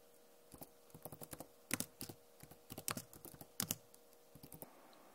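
Fast tapping with long nails and fingertips on a backlit Acer laptop keyboard with plastic keycaps produces bursts of sharp, bright clicks that stop almost instantly. Faint, steady hums sit underneath.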